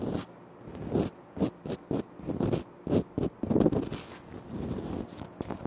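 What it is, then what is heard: Granite floor tile. Short nails scratch across a flat, solid, speckled granite floor tile, making quick dry scraping strokes separated by brief quiet gaps. A few longer rubbing passages sit in the middle and toward the end. The sound has a low-mid grainy body, little high-end content and almost no ring after each stroke.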